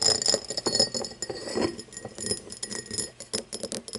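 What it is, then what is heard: Cut crystal glass tumbler. Fingernails tap and scratch the sides and star-cut base of an empty cut-crystal glass tumbler lying on its side. Quick, irregular bright clinks mix with soft scraping, each tap dying away almost at once with a faint high ring.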